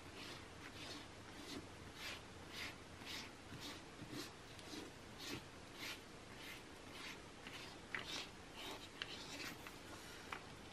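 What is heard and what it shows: Fingertips and short nails tap and scratch across the open spread of a glossy cosmetics catalog magazine with thin paper pages, lying flat on a white table. Quiet, bright, papery scratching strokes repeat at an uneven pace of about two per second, with a few sharper taps standing out.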